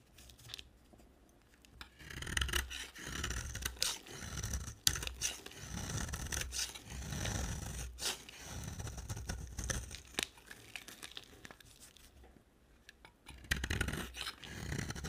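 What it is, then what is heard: Dry bar soap being shaved. A dry white oval bar of soap, held in long fingernails, is shaved with a box cutter blade. Repeated dry scraping strokes come in bursts, each with a crisp, bright rasp over a soft low rumble, separated by quieter pauses.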